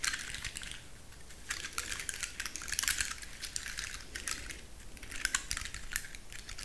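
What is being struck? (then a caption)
Pine cone with woody scales. Long manicured nails scratch and flick along the woody scales of a large, dry brown pine cone held upright in both hands. The result is a steady run of crisp, dry, bright clicks and scratches, with short louder bursts and a faint low hum beneath.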